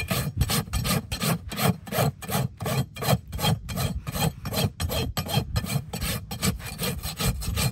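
A steel rasp is pushed back and forth across a solid keratin horse hoof wall resting on a metal hoof stand, sending shavings flying. Each stroke makes a dry, gritty scraping rasp with a low, heavy body and a bright hiss on top. The strokes repeat in a steady rhythm of quick bursts.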